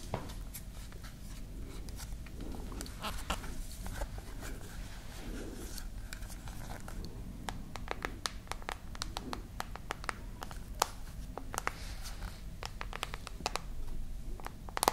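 Long nails tap and scratch along the edges and glass of a solid glass-and-metal smartphone held horizontally. Many quick, dry clicks with bright tops and almost no ring stand out over a soft scratching rustle and a steady low rumble.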